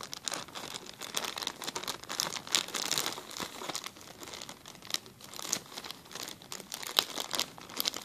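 A clear, empty plastic zip-lock bag is held and crinkled between the fingers close to the camera. Dense, bright crinkling and crackling goes on throughout, with quick sharp snaps over a steady rustle and almost no low end.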